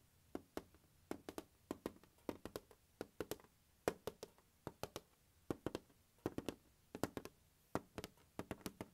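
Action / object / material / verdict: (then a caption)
tap / hard plastic carrying case / plastic / none. Fingertips tap and scratch the lid of a closed, large, hollow turquoise hard plastic glockenspiel carrying case resting on carpet. Quiet, dry taps come in quick clusters, each with a hollow body around 430 Hz and a sharp, bright click that dies away almost instantly.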